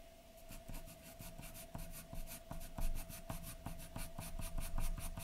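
A graphite pencil scratches a large white sheet of drawing paper lying flat, in short, dense strokes. Quick, dry scratching strokes repeat in a steady rhythm, each a soft rasp with a bright hiss on top, over a faint constant mid-pitched hum.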